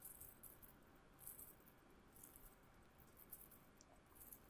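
A thin silver-colored metal chain necklace is held dangling between the fingers and shaken, giving quiet bursts of bright, high jingling. Each burst dies away quickly over a low, steady background rumble.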